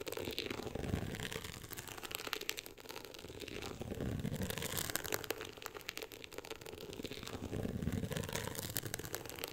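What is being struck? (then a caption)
Cloth-textured hardcover book cover scratched with fingernails. Long acrylic nails on both hands scratch the woven-texture beige cover of a closed hardcover book. The result is a steady, dense, crackly scratching with a low rumble underneath and bright, fine texture on top, swelling a little louder around the start, middle and end.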